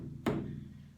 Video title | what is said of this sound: Paint It, Pour It: Tips for Beginner's: Your Canvas | it sounds like a drum and that means that your canvas is nice and tight